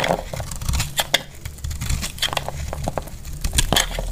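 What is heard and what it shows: A solid, dry pink bar of soap held in the hand is shaved and cut with a metal utility knife blade, and chalky flakes fall off. Quick, dry scraping and crackling cuts come in uneven bursts, with sharp, bright snaps over a low, muffled rumble. Each cut stops almost at once.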